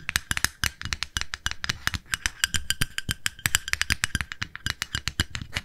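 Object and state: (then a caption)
Plastic cosmetic jar. A small, round, pale pink plastic cosmetic jar with a lid is held in the hands and tapped with long nails on the lid and side. It makes a rapid, uneven run of short, dry clicks with almost no ring. Each click has a bright top, a plasticky tone near 1.7 kHz and a faint low thump.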